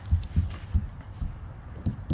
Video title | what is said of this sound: Install level siding. | see, I can hear there's a stud.